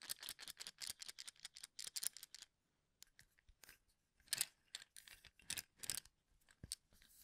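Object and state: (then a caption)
Cup of wooden toothpicks being flicked. Fingertips brush and flick across the exposed tips of many wooden toothpicks packed tightly into a small cylindrical cup held in one hand. The result is quick bursts of dry, bright clicking and rattling with almost no ring and very little low end. A brief quiet gap comes midway before sparser flicks resume.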